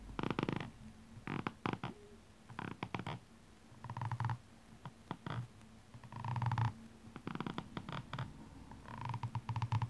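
The pointed end of a metallic makeup brush handle scratches and taps along the red ridged rubber sole of a blue rhinestone high-heel shoe held in hand. The result is a series of short, rough scratching bursts with a dull, low, thumpy body and a faint hum-like midrange tone, separated by brief quiet gaps.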